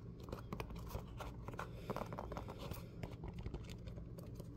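A yellow, hollow, empty Croc-style clog of molded foam with ventilation holes is held in both hands while fingertips and nails rapidly tap and scratch its top and textured sole. The taps are dull, muffled and heavy in the lows, with soft crinkly scratching between them, and each one stops dead with no ring.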